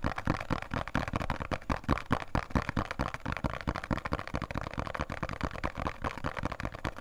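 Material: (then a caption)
Cardboard. A small, printed, thin cardboard box of Khadi soap is held in both hands and tapped and scratched with fingertips and nails. The result is a fast, uneven stream of dry, short taps mixed with scratchy rustling, with a low, thumpy body and little high brightness.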